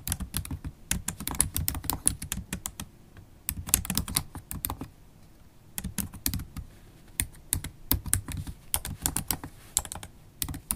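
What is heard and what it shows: Long stiletto acrylic nails and fingertips type on a MacBook Pro laptop keyboard with low-profile black plastic keys set in a silver aluminum body. Rapid bursts of sharp, bright key clicks over soft low thuds stop dead with almost no ring, broken by brief pauses near 3 and 5 seconds.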